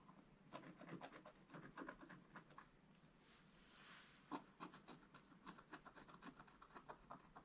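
A wooden stylus scratches the black coating off a flat scratch-art page in a book. It makes quick, dry, rasping strokes in short bursts, with a softer, steady hiss in the middle before the scratching picks up again.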